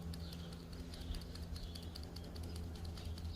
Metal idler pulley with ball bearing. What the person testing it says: when you shake this one pretty sure you guys can hear that it makes noise